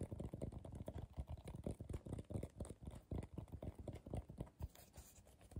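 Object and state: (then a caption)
Coiled paper bowl tapped. Fingertips and short nails tap rapidly on the base and sides of a medium, hollow, empty bowl of coiled colorful paper held upside down. The taps are soft, low and muffled, with a dull thud and almost no ring, in a quick, uneven patter throughout.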